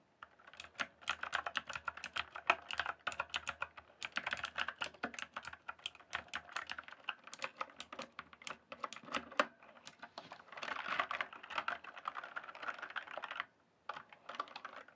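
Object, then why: Mechanical keyboard with plastic keycaps. Fingertips type on a green-backlit mechanical keyboard with plastic keycaps, making a fast, steady stream of sharp, dry clicks and clacks with bright edges and almost no ring. Around the 10–13 second mark the keystrokes blur into a denser clatter. The typing stops briefly near 13.5 seconds, then a few scattered key presses follow.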